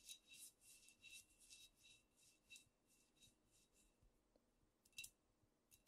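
Long nails scratch and tap a squat amber glass cognac bottle with a paper label, held in both hands. The result is quiet, bright, rhythmic scratching strokes with a faint ringing tone near 2.7 kHz, followed by a few sharp clicking taps toward the end.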